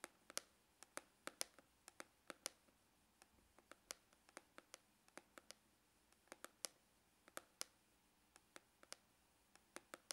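Glitter-polished fingernails tap and click on the lid of a dark brown, textured faux-leather hard glasses case with a red rose emblem and a hollow hard shell. About 30 quiet, sharp, bright clicks come in irregular bursts, each dry and instantly cut off, with almost no low end and near silence between them.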